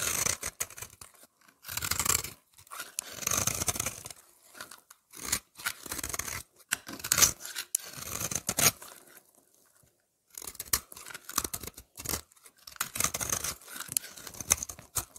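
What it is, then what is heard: Soap bar scraped with a blade. A utility knife blade scrapes a solid oval lavender soap bar with a scalloped edge, held in the hand, shaving off powder and flakes. Bursts of crisp, bright, gritty scraping come in strokes of varying length, broken by short silences and a longer pause near the middle.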